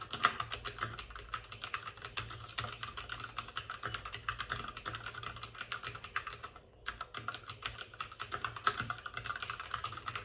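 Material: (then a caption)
Plastic. Both hands type rapidly with their fingertips on the plastic keycaps of a white, backlit RGB mechanical computer keyboard sitting on a desk with a padded wrist rest. The result is a dense, steady stream of short, crisp clicks and clacks centered in the upper mids, with a brief pause near the middle. A faint low hum sits underneath.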